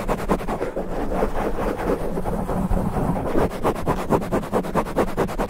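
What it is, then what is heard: Foam microphone windscreen being scratched. Fingertips of both hands rapidly and aggressively scratch and rub a soft, porous black foam windscreen over the head of a standing condenser microphone. The result is a dense, continuous stream of rhythmic, close-up scratching and rustling, heavy with low, muffled rumble. The scratching quickens into sharper strokes toward the end.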